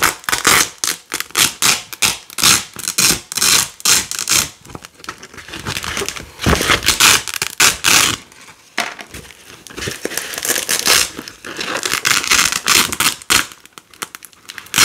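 Fingers with long nails peel flat red and white nylon hook-and-loop strips off a large black loop panel laid out as a flag. The result is a string of quick, bright, crackly ripping bursts with almost no low end, some sharp and loud and others softer and drawn out.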